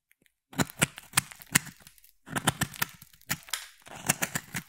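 A palm-sized solid yellow bar soap with an embossed pattern is carved with a utility blade and a craft knife, and yellow shavings fall away. Crisp, bright crackling cuts come in quick bursts, with brief silent pauses between runs of strokes.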